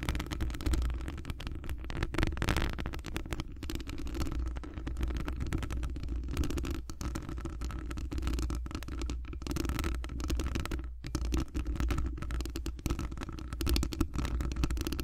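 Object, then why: Metal wire-mesh microphone grille scratched by long nails. Long glittery acrylic nails scratch continuously across a hollow metal wire-mesh microphone grille. The result is a dense, low, rumbling scrape with a steady hum-like tone near 320 Hz and very little high end, holding an even level with a few brief dips throughout.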